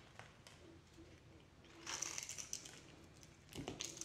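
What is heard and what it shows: A yellow-handled box cutter blade scrapes and shaves flakes off a hand-sized solid blue bar of soap with a pale green core, held in one hand. Quiet, bright scratching builds into louder crisp, crinkly shaving bursts with a high hiss, then eases and returns in a final burst near the end.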